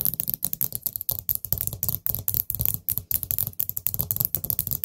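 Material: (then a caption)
Ceramic. Long nails tap rapidly on the gold stem lid and stem of a small, hollow, orange glazed ceramic pumpkin-shaped candle pot, giving about thirty quick clicky taps in irregular bursts. Each tap pairs a bright, sharp tick with a low, hollow knock around 120 Hz and dies away almost at once.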